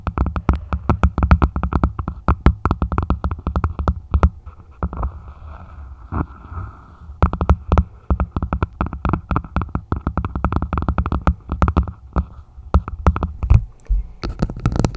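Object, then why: Plastic martini glass. A red plastic martini glass is set upside down over the microphone while long nails tap and scratch its stem and foot. Quick, dense, hollow taps with a boomy low thud come in bursts, each dying away almost at once. A quieter stretch of soft scratching sits in the middle before the tapping resumes.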